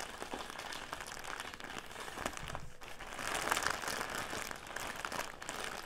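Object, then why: Clear plastic bag full of cotton pads. Fingertips and nails crinkle and scratch an upright clear plastic bag full of cotton pads resting on a table. The result is a steady, bright plastic crinkling with small crackles and scratchy textures, growing a little louder and denser in the middle of the clip before easing off again.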